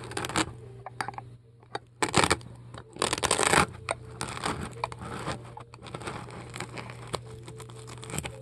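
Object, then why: Polystyrene foam ball scraped with a metal scoop. A metal melon-baller with a wooden handle scrapes and carves foam out of a large, solid white polystyrene foam ball held on a table. Loud, bright, crunchy scraping bursts come in uneven waves over a steady low hum, with the heaviest gouging in the middle of the clip.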